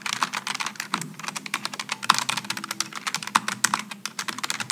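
Both hands type continuously with their fingertips on a Logitech G915 low-profile mechanical keyboard with GL low-profile switches and aluminum and plastic keycaps. The result is a rapid, steady stream of short, crisp, bright clacks with almost no low end, each keystroke dying away almost instantly.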